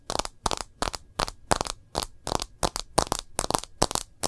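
Long nails tap and scratch the edge of a smartphone's plastic case and its screen. About fourteen sharp, dry clicks and brief scrapes come in a quick, uneven run, each bright and crackly with almost no ring after it.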